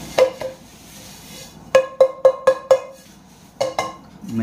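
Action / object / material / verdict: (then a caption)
tap / metal kadai (wok) / metal / medium thick. A metal induction kadai (wok) is tapped to show its material, giving a series of sharp, clanking metallic taps in irregular bursts, each with a clear tone around 530 Hz that dies away quickly. The metal proves to be of medium thickness, neither too thick nor too thin, and suited to lasting a long time on induction.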